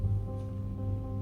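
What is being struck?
Nothing is struck.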